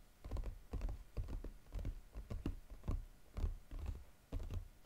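Fingertips tap quickly and irregularly on the lid of a flat brown textured cardboard Godiva chocolate box, with light scratching between taps. The taps are dull, low thumps with almost no brightness, each dying away almost at once, in uneven clusters across the clip.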